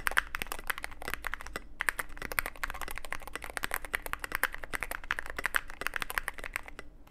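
Fingertips type rapidly on a Cyberboard mechanical keyboard with plastic keycaps and a black aluminum case. The keys make a steady stream of short, crisp clacks with a bright tone and almost no ring, over a faint low hum.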